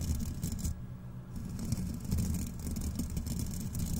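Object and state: Steel wool scrubber pads.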